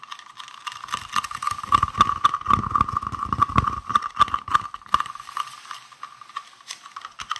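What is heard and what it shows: A palm-sized, hollow, green translucent round plastic case is tapped and scratched with fingertips and nails close to the microphone. Quick, irregular clicky taps and scratchy rustles carry a hollow ring around 1.1 kHz with bright crackle on top. The taps are densest in the middle and thin out toward the end.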